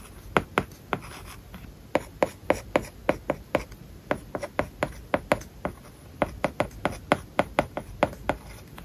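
A plastic stylus writes on an iPad lying flat, its glass screen covered with a matte plastic paper-like film. Around thirty short, dry taps and scratches land in an irregular writing rhythm, each with a clicky mid-range tone and almost no ring, over a faint steady background hiss.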